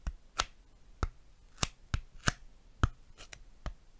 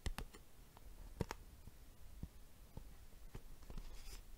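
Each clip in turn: First: styrofoam tapping. Second: plastic box tapped.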